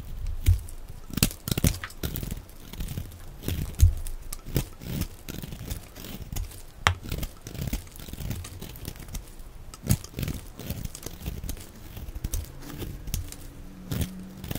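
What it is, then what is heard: Dry soap bar being scraped. A metal blade scrapes a solid, dry, octagonal bar of orange soap held in the hand, peeling orange flakes onto a pile of soap shavings. Close, crinkly scraping and crackling with frequent dull, low thuds and a few sharper cracks runs irregularly throughout.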